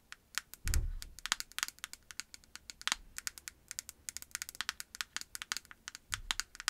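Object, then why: Small plastic cosmetic jar with lid. A small white and pink plastic cosmetic jar with a lid, likely full, is tapped with long acrylic nails on its lid and sides. Dozens of quick, bright, dry clicks with almost no ring come in an irregular stream. A couple of softer, low thuds occur near the start and end.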